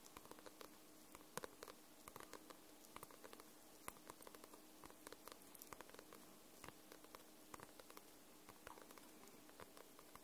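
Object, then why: Paperback book with glossy paper cover. Long nails tap and scratch across the glossy paper cover of a paperback book. Quiet, irregular light taps and soft scratches sound throughout, each click short and dry with a bright edge. A faint steady hum sits underneath.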